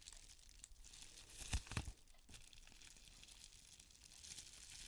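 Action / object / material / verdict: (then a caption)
scrape / plastic bubble mailer / plastic / none. An iridescent plastic bubble mailer, held close, is squeezed and scratched with the long nails of both hands. Soft, steady crinkling and bright scratching run throughout, with two louder crackling crunches in the middle before it settles back to quiet rustling.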